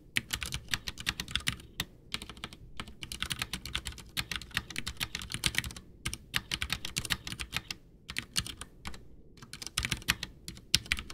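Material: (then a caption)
Plastic. Both hands type with fingertips, pressing and tapping keys on a full-size white plastic backlit mechanical keyboard, a Ducky One 2 with Cherry MX Brown switches and a hollow case, resting on a desk. Rapid bursts of bright, crisp key clacks with a low thocky body come in runs broken by brief pauses. Each stroke dies away almost instantly.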